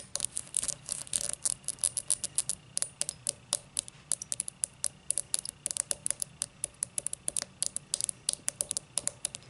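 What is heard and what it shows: Long matte black nails tap and scratch the thick star-cut base of an empty tall cut crystal glass tumbler turned to face outward. A quick, uneven run of dozens of sharp, bright clicks and ticks sounds with almost no ring, and faint scratching fills the gaps between them. The overall level is quiet and the sound is almost entirely high-pitched.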